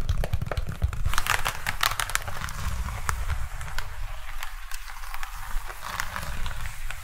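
Fingertips and nails scratch and tap the surface of a large, light, hollow Vietnamese conical hat (nón lá) of woven dried palm leaves held close to the microphone. It makes a dense, continuous crinkling crackle with quick dry taps and bright scratchy ticks over a heavy low rumble.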